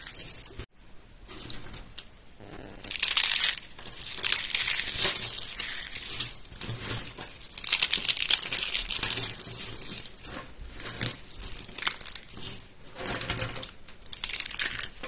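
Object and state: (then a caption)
Dry, brittle soap shavings. A pile of light green, dry, brittle soap curls and flakes, with small solid pieces, is crushed and crumbled between bare fingertips and palm on a white surface. The result is a steady run of bright, dry crunching and crinkling crackles that swell into louder bursts and then ease off. The crackles are mostly high, with little low end.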